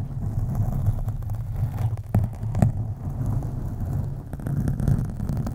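Long acrylic nails of both hands slowly and deeply scratch a black foam windscreen on a USB microphone. The result is a continuous, muffled low rumble with almost no high end, broken by a couple of sharper soft thumps partway through.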